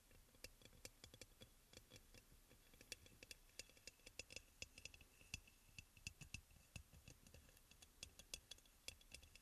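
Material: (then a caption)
Ceramic. Fingertips and nails tap rapidly on the sides of a hollow, white crackle-glazed ceramic aroma oil burner. The result is a quiet stream of short, bright clicks that die away almost instantly, with a faint ringing tone near 2.6 kHz.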